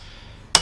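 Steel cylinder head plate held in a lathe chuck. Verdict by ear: Seated.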